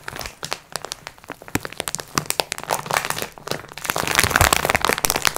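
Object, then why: Sponge cloths in plastic wrap. Long nails scratch the crinkly plastic surface of a plastic-wrapped multipack of sponge cloths lying flat. Rapid, irregular crinkles and sharp cracks form a dense, bright rustle that grows busier and louder toward the end.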